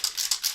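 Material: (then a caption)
Metal. An activated two-part polyurethane spray paint can is shaken so its mixing ball rattles inside to mix the paint. Four quick, bright, high rattling bursts are heard with almost no low end and very little ring after each shake. The ball moving freely indicates the paint is being mixed as it should.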